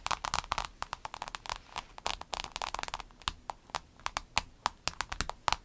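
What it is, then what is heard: Clear vinyl pencil case. Long acrylic nails tap a rainbow clear vinyl pencil case, first while it is held and then laid flat. The result is a quick, irregular run of sharp, crackly clicks with a bright edge and little low end, each dying away almost instantly.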